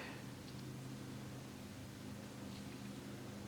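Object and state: Nothing is struck.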